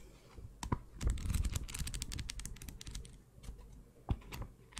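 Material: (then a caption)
Cardboard. A small pink notebook with a cardboard cover and paper pages is held in the hand while its pages are flipped and its cover is tapped with long nails. Sharp, dry clicks and taps mix with soft papery rustling over a low, quiet background, with a denser burst of tapping early on and a few isolated crisp taps later.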